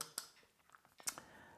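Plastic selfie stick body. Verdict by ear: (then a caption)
Hollow. The ABS plastic body of a DJI Action 2 Remote Control Extension Rod selfie stick, with its shaft fully extended, is tapped three times. Each tap gives a sharp, bright, very short click with little low end. The plastic sounds hollow and cheap, which happens only when the stem is fully extended.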